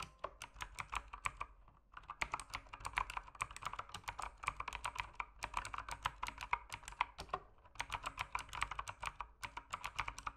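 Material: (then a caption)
Plastic. Fingertips type continuously on an RGB-lit mechanical keyboard with plastic keycaps. A rapid stream of short, sharp plastic clacks sounds bright and crisp, centered around 1 kHz with very little low end. The typing runs in bursts, with brief pauses near 2, 5.5 and 8 seconds.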